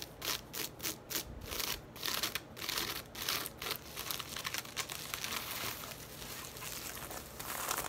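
Long nails rapidly scratch and tap the weave of a hollow, braided woven straw tote bag with leather handles, which is laid on its side and then stood upright. Bright, crinkly scratching comes in quick separate bursts at first, then blends into denser, continuous rasping over the straw.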